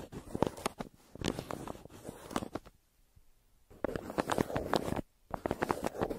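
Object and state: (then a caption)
Kraft paper mailer. A yellow wooden pencil held in a hand scribbles and scratches hard on a crumpled brown kraft paper mailer lying flat. Rapid bursts of dry, rasping strokes and paper crinkles come in clusters, separated by a longer near-silent pause in the middle and a brief one near the end.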